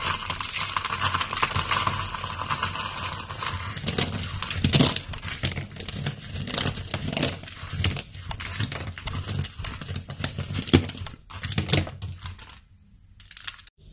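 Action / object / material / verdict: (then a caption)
scrape / soap flakes / soap / none. Pale green, brittle, dry soap flakes are squeezed in fists, then pressed and rubbed flat with palms and fingers on a wooden board. Dense, dry crunching and crackling fill the clip, with a bright hiss at first, then uneven crushing bursts that thin out into near silence before a last few crackles.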